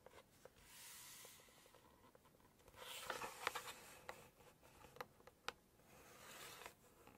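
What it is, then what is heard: Glossy cookbook page tapped and scratched with nails. Long acrylic nails tap and scratch the glossy pages of a large hardcover Chinese cookbook lying open to text and photos. Soft, bright swishing rubs rise and fade around sharp, dry clicks that stop instantly. The sound is quiet and close, with almost no low end.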